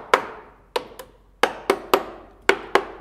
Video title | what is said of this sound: TUTORIEL #02 - Réparation d'une poutre en béton armé | toutes les zones où ça sonne creux c'est là où la poutre est endommagée